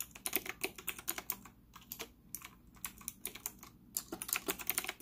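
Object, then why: Plastic mechanical keyboard. Fingertips type rapidly on a white retro typewriter-style plastic mechanical keyboard with round plastic keycaps and an integrated stand, set on a desk in front of a laptop. About thirty bright, sharp clicks and clacks come in quick bursts with brief pauses, each decaying almost instantly, with a slightly hollow tone from the case.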